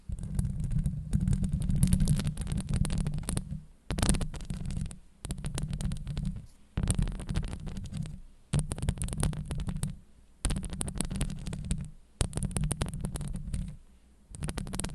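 Long acrylic nails scratch the sides of a Blue Yeti microphone's hollow steel mesh grille. The result is a deep, rumbling scrape that is mostly low-frequency, with faint bright crackle on top. It comes in about eight sustained bursts separated by brief pauses.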